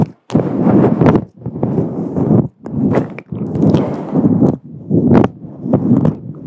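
Long acrylic nails on both hands scratch and rub a fluffy grey-white synthetic faux fur microphone windscreen, a soft, hollow cover. The result is dense, muffled, low-heavy crackling rustles in repeated bursts, each separated by brief pauses. Short, bright nail clicks poke through the bursts.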